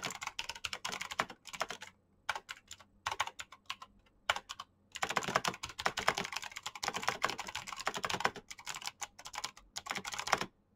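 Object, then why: Plastic mechanical keyboard. Fingertips type fast on a black plastic mechanical keyboard with clicky green switches, producing rapid bursts of sharp, bright clicks. Brief pauses break up the typing, and each click dies away almost instantly.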